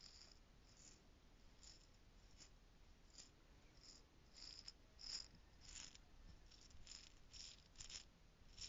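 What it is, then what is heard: Plastic jar of loose costume jewels, shaken. A small clear plastic stacking jar holding loose gold costume jewels is shaken in the hand. It gives quiet, irregular bursts of bright, clicking rattle over a low steady hiss.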